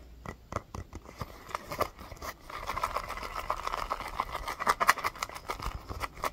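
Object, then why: Small rubber basketball. Fingernails tap and scratch the pebbled surface of a small, hollow orange rubber mini basketball. Sharp, separate taps come first, then a denser, steady scratching sets in with a hollow ring near 1.1 kHz and quick, dry clicks.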